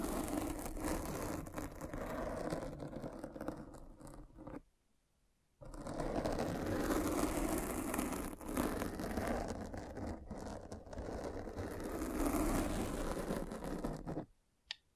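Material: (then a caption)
Foam. A derma roller with tiny metal spikes is rolled and pressed over the soft, porous black foam windscreen of a microphone, scratching and piercing the foam. The result is a dense, crackling scratch with a low, muffled body, broken by a brief silence near five seconds before the rolling resumes. It stops abruptly just before the end.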